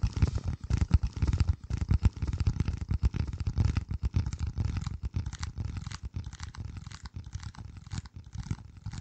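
Fingertips scratch and tap a flat, hand-sized piece of dark corrugated cardboard, bending it slightly close to the microphone. The result is a dense run of muffled, low thumps and rough scratching with almost no bright content, each touch dying away quickly. The level eases down gradually toward the end.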